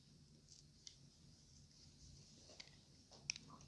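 A palm-sized, solid purple bar of extremely dry soap, held in one hand, is scraped and carved with a thin metal blade so that crumbly, powdery shavings fall away. The sound is quiet, soft and bright, with faint scratching and a few sharp clicks from the blade.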